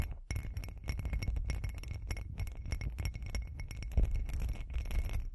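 Long acrylic nails tap and scratch a hand-sized, hollow, textured glitter glass cup, producing a rapid, continuous run of strong glass clinks. Short, sharp ticks carry bright edges over a heavier low body, with one louder clink near the four-second mark.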